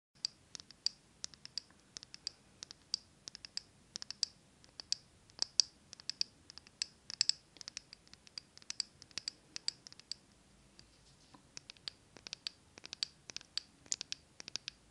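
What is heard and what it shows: A small glass jar candle filled with solid green wax and wrapped in a paper label is held in both hands and tapped and scratched with long acrylic nails close to the microphone. The result is a quiet, irregular stream of short, bright clicks and scratchy ticks that stop dead with no ring. There is very little low end beneath them.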